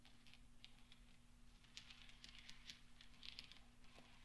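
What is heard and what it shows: A few small, solid steel pachinko balls rest on black velvet while fingertips roll and gather them. This makes quiet, scattered, bright clinks that ring briefly, centred near 3.4 kHz, over a steady low hum.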